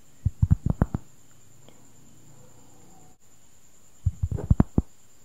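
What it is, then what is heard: Cork board. Fingertips and nails tap and scratch the surface of a large, thin, round cork board, solid and flat, held up close. Two quick bursts of soft, dull, low thuds are heard, separated by a quiet pause, with the taps dying away almost instantly. A faint steady high-pitched tone runs underneath throughout.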